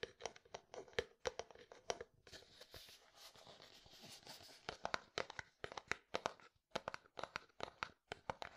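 Fingernails tap and scratch a translucent plastic jar or tub with pale contents, giving quick, dry, bright clicks in irregular bursts. Partway through, the tapping gives way to a steady, hissy scratching before the sharp taps resume to the end.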